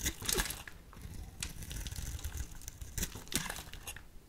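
A utility knife blade scrapes thin shavings and strips off the end of a solid, hand-sized white soap bar held in the hand, while the other bars go untouched. Crisp, crinkly scraping bursts come in uneven strokes, with bright, papery highs over a soft low rumble.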